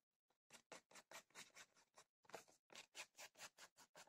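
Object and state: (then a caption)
Cardboard tea box scratched with fingernails. Long fingernails scratch a held, rectangular printed cardboard tea box that is hollow with tea bags inside. About fifteen quick, separate, bright scraping strokes come in an uneven rhythm. Each is a short, dry burst that stops almost at once, at a soft level.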